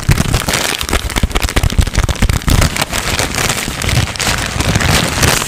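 A thin white paper sheet is heavily crumpled, folded and crinkled with the fingertips close to the microphone. It makes a continuous stream of fast, dense crackles and rustles with a strong low-end thump from the close handling and bright crinkly edges, sustained throughout the clip.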